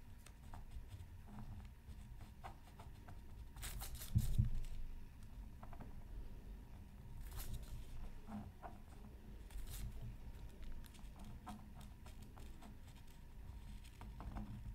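A bamboo stylus scratches the colored areas of a flat, black-coated scratch art card from a Mythical Creatures Super Scratch Art pad. Quiet, irregular scratching and light pattering run over a steady low rumble. Brighter, louder scrapes stand out near 4, 7.5 and 9.7 seconds.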